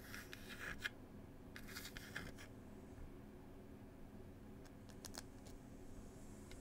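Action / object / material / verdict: scrape / small wooden tea box / wood / none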